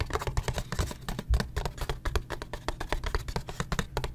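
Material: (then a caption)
Cardboard. A small printed Gulf Wax cardboard box, held in the hand and apparently holding wax blocks, is tapped and scratched with fingertips and nails. Rapid, dull, low taps with very short decay mix with dry scratching strokes in a quick, uneven stream.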